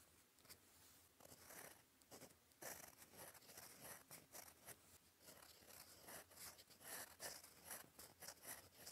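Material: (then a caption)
Paper. A gold metal fountain pen nib, held in fingers, scratches across a flat sheet of cream lined paper on a desk while writing cursive. Quiet, dry, bright scratching comes in short bursts of strokes with brief pauses, with almost no low end and little ring after each stroke.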